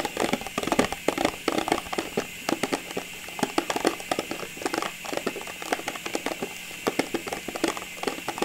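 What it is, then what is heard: Clear plastic tube of small ornaments. A hollow, cylindrical clear plastic tube full of small Christmas ornaments is held tilted and tapped and scratched with long nails, so the contents may shift inside. Quick, irregular taps land as sharp, dry clicks that die away almost instantly, over a bright, scratchy rustle.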